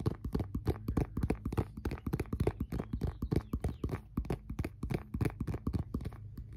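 An empty transparent plastic phone case with a MagSafe ring is held in both hands and tapped rapidly with fingertips and nails. The taps come as a quick, irregular stream of dull, hollow clicks, low in pitch with almost no high-frequency sparkle. Each tap dies away almost at once.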